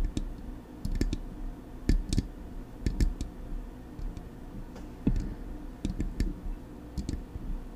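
Long acrylic nails tap the front of a hollow, silver metal Blue Yeti microphone body in an uneven rhythm. Each tap is a short, dry click with a low thump and a bright tick on top, separated by quiet pauses.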